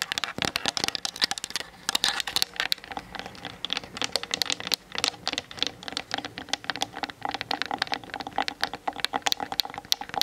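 Long fingernails tap rapidly with both hands on the hollow plastic body of a Canon DSLR camera. The result is a dense, continuous stream of dry, bright clicks and ticks with almost no low end and no ring after each hit.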